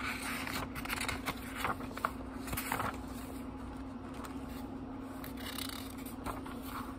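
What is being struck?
Paper pages of a small book.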